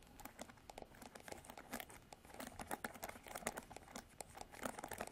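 Fingernails scratch and flick the pin bristles of a plastic paddle hairbrush with a silver handle. The result is a quiet, rapid series of crisp, crinkly ticks and scrapes, each dying out almost instantly, with a bright, papery texture and little low end.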